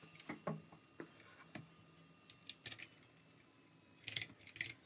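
Fingertips type on the keycaps of a plastic RGB mechanical keyboard, giving quiet, bright, short clicks and clacks with brief pauses between them. Bursts of faster keystrokes cluster near the start and again toward the end.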